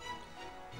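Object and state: Nothing is struck.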